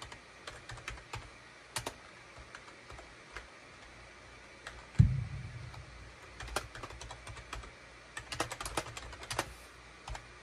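Fingertips type at a slow pace on a full-size gray and beige SHIPADOO K600 wired USB keyboard with hollow plastic keycaps, tapping out scattered, sharp plastic clicks. Around the midpoint a single heavier, low thump stands out, then the uneven tapping continues in short bursts over a low, steady hum.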